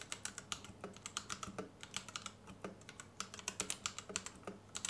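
A white compact Royal Kludge RK71 plastic mechanical keyboard with Gateron Red switches and RGB underglow sits on a desk mat and is typed on with the fingertips of both hands. About 33 quick, bright, clicky-thocky keystrokes sound in an uneven rhythm, each decaying almost instantly, over a quiet low hum.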